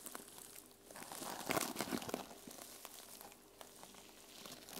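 Fingernails scratch and brush across the silver and teal sequin cover of a small fabric journal lying on a table. The result is a soft, crinkly rustling and clicking of sequins that swells into a denser scraping burst midway, then settles back to quiet brushing.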